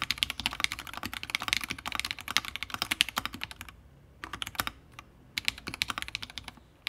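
A 60% Fusion60 mechanical keyboard with a brass plate, plastic keycaps and FFFF switches is typed on continuously with the fingertips of both hands. The keystrokes are quick, bright clacks that die away almost instantly, centered around 2.9 kHz with little low end. A dense run of typing lasts about 3.7 seconds, then a short pause, a brief burst, another pause, and a final stretch of typing.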